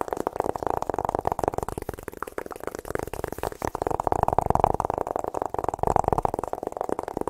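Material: Cardboard.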